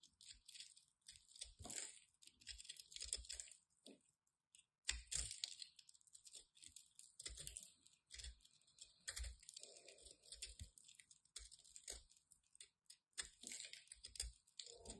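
A small metal blade cuts and scrapes a hand-sized ball of dry, crumbly white soap held with long red nails, making it crumble. Many quick, bright crunching and scraping bursts follow one another with brief pauses, and fragments patter down softly.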